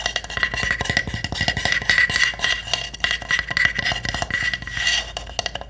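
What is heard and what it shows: A small hollow pine wood hamster house has its roof tapped rapidly with long nails. The result is a dense stream of short, dry wooden clicks with a hollow ring near 1.9 kHz and bright edges, each hit dying away almost at once.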